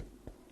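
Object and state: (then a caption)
Tightly hooped fabric. Fabric and stabilizer loaded in an embroidery hoop are tapped twice, giving two short, low, drum-like thumps that die away quickly. The drum-like sound shows the material is properly loaded and taut, ready for embroidering.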